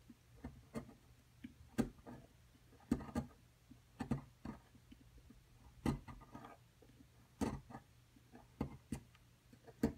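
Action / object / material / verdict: scrape / plaster block scraped with a small metal chisel / plaster / none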